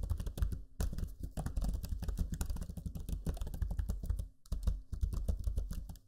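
Fingertips type steadily on the low-profile plastic keys of a backlit black Lenovo Legion 5 laptop keyboard, producing a dense run of soft, dull clicks with low thumps. The tapping runs continuously with brief pauses near one second and around four and a half seconds before resuming.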